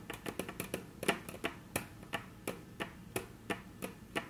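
Very long natural nails tap on a flat, solid, dark brown wood-grain tabletop, producing about 17 sharp, clicky taps with a bright edge and a short, dry decay. A quick irregular flurry of taps opens the clip, then settles into a slower, steadier rhythm of evenly spaced taps.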